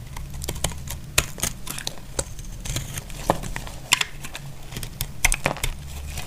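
A utility blade shaves the edges of a solid, dry brown bar of soap. It makes a string of sharp, bright crackling scrapes and clicks at an uneven pace, each dying away almost at once, over a steady low hum.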